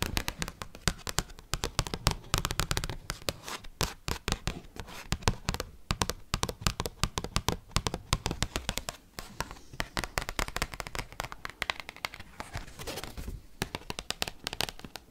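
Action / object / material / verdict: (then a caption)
tap / large thin glossy cardstock card tapped with metal paperclips / cardstock / none. A giant Pokemon card made of large, thin, glossy cardstock is held edge-on and tapped and scratched with metal paperclips worn on the fingertips. Fast, dense clicks and scratchy rasps run continuously, each tap short and dry with no ring, over a papery low thump.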